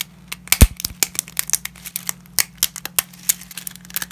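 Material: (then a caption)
Dry pasta. Gloved hands break and crush small pieces of uncooked dry lasagna pasta over a dense layer of fragments. A rapid, irregular series of short, bright cracks and crunches sounds, each stopping almost instantly, over a faint steady low hum.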